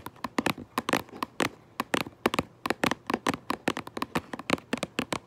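Long fingernails quickly tap and scratch across the front of a cardboard Minecraft Lego box. About 27 sharp, dry taps come in a rapid, uneven patter, each a brief crisp click with a bright edge and almost no ring.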